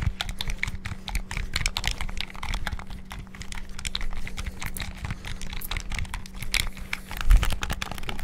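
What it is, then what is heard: Plastic game controller buttons. A white PS5-style hollow plastic gamepad is held in both hands while fingertips rapidly press and click its buttons and sticks. The result is a dense, continuous stream of short, dry plastic clicks and taps with bright edges. A faint steady low hum runs underneath.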